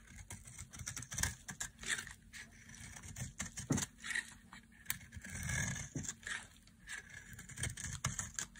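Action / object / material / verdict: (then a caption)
scrape / bar of soap shaved with a knife blade / soap / none. A solid white bar of dry soap is held in the hand and shaved with a knife blade into flaky white curls. Repeated crisp, bright scraping strokes rise and fall over a soft low rumble.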